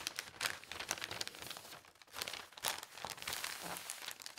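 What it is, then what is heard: Newspaper sheet being folded. A single large, thin newspaper sheet is folded into a triangle while fingertips and nails press and rub along the folds. The result is steady, bright crinkling and rustling with short crisp crackles, almost no low end, and a brief lull near the two-second mark before the crinkling picks up again.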